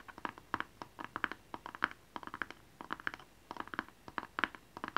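A small, hollow blue cardboard gift box with a barcode label is held upright and tapped and scratched with fingernails. About thirty quick, dry, papery clicks and scrapes come in irregular bursts, centred around 1.5 kHz with a bright edge, each dying away almost at once and separated by short quiet gaps.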